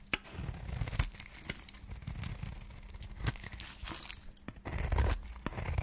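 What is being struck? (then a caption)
Bar of soap cut with a metal blade. A solid white dry soap bar with a pink wrapper edge is held in the hand and scraped and cut into flakes with a flat metal blade. Dry, crumbly scraping and crunching sounds with sharp clicks of the blade are heard, and the low rumble of handling runs under them.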